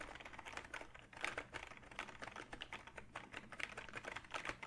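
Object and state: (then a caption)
Plastic computer keyboard. A hollow plastic backlit gaming keyboard with plastic keys is held up and typed on with the fingertips. Fast, continuous clicking and clacking, bright and short with almost no ring, keeps a steady pace throughout with a few louder key strikes standing out.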